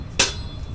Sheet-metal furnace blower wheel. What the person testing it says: If it's making that rattling, if you're tapping out like this and those two halves are hitting each other, then the blower wheel needs to be replaced